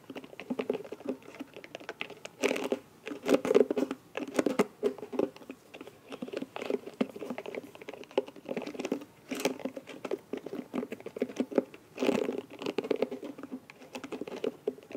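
Long nails scratch and tap the bristles and rim of a small round light blue silicone scalp massager brush. The result is a steady, dense patter of soft, quick ticks and scrapes, mostly low-mid in tone, with brief brighter flurries of scratching near 2.5, 9.5 and 12 seconds.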